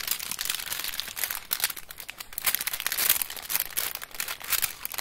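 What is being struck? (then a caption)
Chocolate bar in aluminium foil wrapper. A solid, flat chocolate bar still in its aluminum foil wrapper is held and handled while long acrylic nails tap and scratch the foil surface. A dense run of quick, bright crinkling taps and scrapes fills the clip, with almost no low end and short, dry decays.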